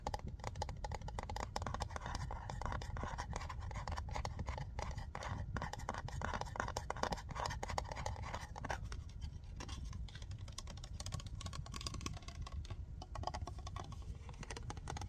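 Long nails tap and scratch the body of a large, translucent, frosted plastic polish remover bottle with printed text. The result is a fast, continuous run of dry clicks and scrapes with a midrange tone over a low, steady rumbling hiss.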